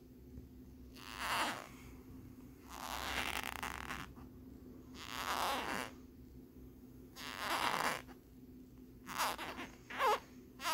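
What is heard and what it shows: Fingernails scratch quickly across the ridged lenticular surface of a small hard plastic phone case with a peace-sign print. The result is seven separate bursts of rasping, zipper-like scratching that center around 1 kHz and reach up into bright highs, with quiet gaps between them. A faint steady low hum runs underneath throughout.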